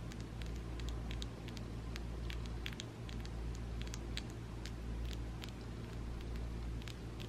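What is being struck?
Acrylic fingernails.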